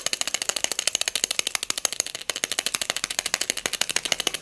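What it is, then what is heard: Glass votive filled with beads. A small pink hobnail glass votive cup filled with pearl beads is tapped with long nails and shaken, making dozens of rapid, irregular taps and a bright beady rattle. Each click is short and crisp with almost no ring, the sound sits high with no low end, and the rattling runs continuously through the clip.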